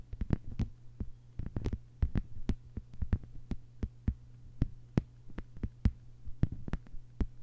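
Long white-polished fingernails of both hands tap a thin, solid, lime-green plastic cutting mat lying flat on a table. The result is an irregular run of quick, dry taps, some in tight clusters, each dying away almost instantly with a bright tick over a dull low thump. A steady low hum sits beneath them throughout.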